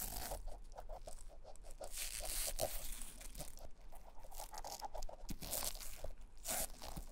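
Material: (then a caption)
Rubber. A cotton ball held in forceps, then a thin plastic stick, rubs and scratches the grooves around the embossed logo on the solid, molded beige rubber outsole of an old Clarks leather shoe. Quick, repeated crunchy scraping strokes give a dry mid-range rasp with a bright hiss over a low rumble.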